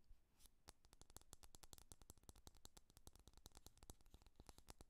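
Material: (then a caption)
Glass. Fingernails rapidly tap the glass side of a small amber glass candle jar with a black lid and paper label, solid with wax inside and held in one hand. Quiet, sharp, bright clicks follow in a fast, steady stream, each dying out instantly with no ring.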